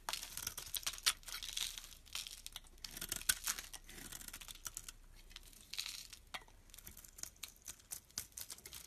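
A solid olive-green bar of olive soap, held in the hand, is scraped with a utility knife blade, peeling off flaky shavings. The scraping gives dry, crinkly, bright rasps in quick bursts of varying length, with very little low end and no ring after each stroke.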